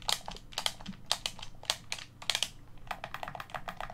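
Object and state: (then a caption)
Plastic game controller buttons. Thumbs and fingertips press the face buttons and thumbsticks of a black, hollow plastic Xbox One controller. The result is a rapid, uneven run of sharp, bright plastic clicks and taps that die away almost instantly, over a faint low background hum.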